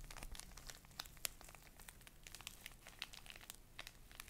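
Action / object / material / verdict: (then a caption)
scrape / pocket tissue pack in thin plastic wrapper / plastic film / none. A small, soft, full pocket tissue pack in a thin plastic wrapper is held near the mic and crinkled and scratched with long nails. The result is a quiet, steady stream of sharp, bright crackles and ticks over a faint low rumble, with no ring after each crackle.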